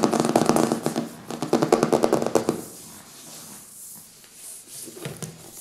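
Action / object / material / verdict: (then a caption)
tap / hardcover book with glossy paper cover / cardboard / none. Fingertips tap and scratch the glossy front cover of a thick, solid hardcover book with a printed paper cover resting on a wooden table, then the book is turned over and the back cover is worked. Quick, dry, close-up taps crowd the first two and a half seconds, with a mid-range knocking tone and a bright edge. The sound then drops to a soft, hissy scratching with a few light taps near the end.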